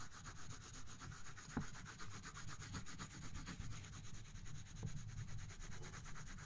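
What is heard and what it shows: A colored pencil rubs across a thin paper coloring book page resting on a box, shading in dense back-and-forth strokes. The result is a steady, scratchy rubbing with a soft, low body from the box and a faint bright hiss, repeating in quick, uneven strokes.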